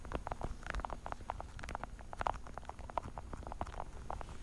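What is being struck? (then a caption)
Plastic pill organizer case. Long dark-painted nails tap rapidly across the lids of a small, hollow, translucent blue plastic weekly pill organizer held horizontally in front of the microphone. It makes a fast, uneven run of short, dry, hollow clicks with a midrange plastic tone near 950 Hz over a low rumble, each tap dying away almost instantly.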